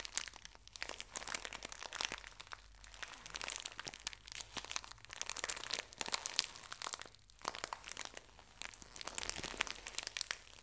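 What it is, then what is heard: Plastic-wrapped tissue pack. A small, full pocket tissue pack in thin plastic wrap is bent and crushed by both hands with long nails. It makes dense, bright crinkling and crunching in bursts that swell and fade, with brief quieter pauses between them.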